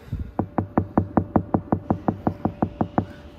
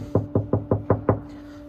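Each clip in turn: First: Steady knuckle knocks land as short, low, dull thuds on a soundproofed car door panel, which sounds solid. Second: Six quick knuckle knocks on a bare car door panel give a thin, boomy, tinny sound with no damping.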